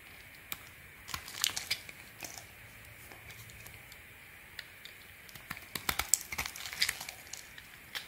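A small metal blade shaves and scrapes thin curls off a hand-sized solid orange bar of soap held in one hand, in steady carving strokes. The strokes make crisp, dry, bright scratches and crinkly snaps over a quiet hiss, clustering in busier bursts early on and again near the end.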